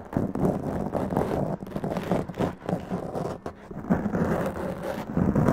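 Long press-on nails scratch a black foam windscreen on a large condenser microphone, making a dense, continuous crackling scrape. The sound stays muffled and low-mid heavy, with little high content, and swells and dips in bursts throughout.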